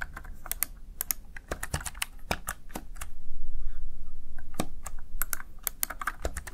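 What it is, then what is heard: Plastic gaming keypad keys being pressed. Fingertips press the keys of a plastic, backlit Razer Tartarus Chroma gaming keypad, producing a steady run of quick, crisp clicks and taps with short bright attacks. A low background rumble swells louder through the middle of the clip and fades again as the tapping continues.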